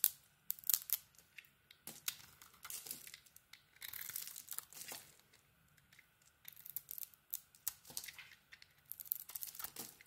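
A metal blade carves chunks and shavings from a hand-held solid orange soap bar with a black glitter coating, making repeated scraping cuts. Each cut gives a quiet, bright, crisp scrape that tears and crinkles, arriving in short bursts with brief pauses and almost no low end.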